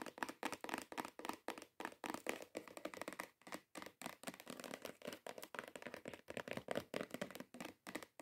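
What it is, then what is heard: Cardboard gift box. Long acrylic nails tap fast on the top of a long, hollow, cream-coloured cardboard perfume gift box. The result is a rapid, steady patter of dry, hollow, mid-pitched clicks that stop dead with no ring and carry little bass.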